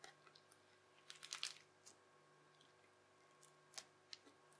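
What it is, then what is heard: Crunchy bubbly slime. Teal, bubbly, crunchy slime is folded over and pressed with the edge of a yellow plastic knife on a white table. It gives quiet, bright crackling pops in short bursts, with the densest cluster near the start and a sharper snap later, over a steady faint hum.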